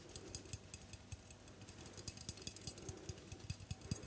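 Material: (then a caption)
Aluminium. A white L'Oreal Tecni Art aluminium aerosol hairspray can, with a hollow metal body and plastic cap, is tapped rapidly with long nails on the cap and side. It makes a quick, uneven run of short, dry clicks and light knocks, with a low hollow thump under bright clicky edges. Each tap dies away almost at once.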